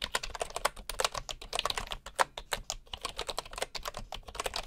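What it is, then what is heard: Bamboo wooden keyboard being typed on. Fingertips type quickly and steadily on a bamboo wooden computer keyboard, with a bamboo mouse lying nearby untouched. Each keystroke is a short, dry, bright click that dies away almost instantly, with a mid-range tone and very little low end.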